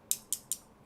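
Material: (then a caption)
Metal. Three light taps on the metal faceplate of a Ziigaat Nuo earphone, done for comparison with a plastic earphone. Each tap is a bright, sharp click concentrated in the high frequencies, with almost no low end, and it dies away almost instantly.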